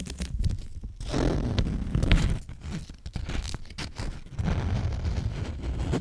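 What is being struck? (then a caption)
Paper lint roller adhesive sheet. An adhesive paper sheet is peeled by hand off a paper lint roller roll, producing a sticky, crackling tearing sound. The peel comes in uneven bursts of rough, low-heavy rasping with brief sharp snaps, carrying little high-end brightness.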